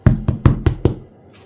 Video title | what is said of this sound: Brot 🍞💫 für Anfänger(!) ohne Kneten – einfaches Mischbrot mit Langzeitgare #197 | seulement si cela sonne creux, c'est cuit. Et c'est exactement comme ça que ça sonne parfaitement